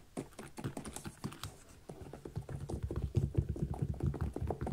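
Fingernails tap and scratch the upper and the zipper area of a small synthetic leather kids' boot with a zipper. The result is a quick, uneven patter of dull, low-heavy clicks that die away almost instantly, growing busier and louder toward the end.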